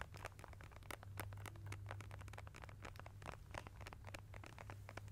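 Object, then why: Plastic squeeze tube of paint. A small, hollow blue-and-white plastic squeeze tube of studio acrylic paint, apparently partly filled, is held in both hands above a foam-covered microphone and tapped and squeezed with long nails and fingertips. The result is a dense, fast patter of sharp, bright clicks and scratchy crinkles over a steady low hum.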